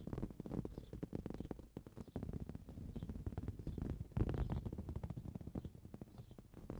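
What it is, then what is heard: Woven fabric cushion. Fingernails quickly scratch and tap a green woven fabric cushion. The result is a dense, quiet stream of dry, rapid scratches and soft taps, mostly low and muffled, with no ring after each stroke.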